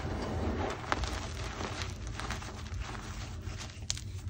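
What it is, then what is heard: Crushed gym chalk. Two hands with long painted nails squeeze and crumble loose chunks from a large pile of crushed white gym chalk (magnesium carbonate) chunks and powder resting on a marble surface. Soft, gritty crunching and crumbling runs throughout over a low, steady rumble, with a few sharper crackles standing out briefly.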